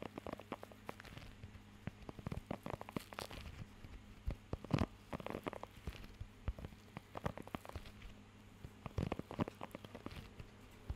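Fingertips scratch and tap across the raised nubs of a blue rubber pet grooming glove held close to the mic. Dense, irregular, short crackly taps and scratchy rubs come in clusters over a faint low steady hum, sounding much like rain pattering on a surface.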